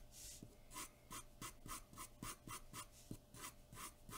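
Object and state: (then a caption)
Pencil shading on drawing paper. A graphite pencil rubs and scratches in rapid shading strokes across a large white sheet of drawing paper taped flat on a dark board. Each stroke makes a bright, rasping scratch, repeating about three times a second in an uneven rhythm over a faint low hum.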